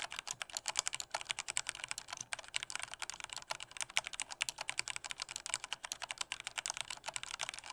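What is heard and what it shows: Fingertips of both hands type at normal force on a full-size black plastic Corsair K68 mechanical keyboard with Cherry MX Red switches and a hollow body. About 47 rapid, evenly paced keystrokes sound as short, bright plastic clacks that die away almost instantly, with almost no low end.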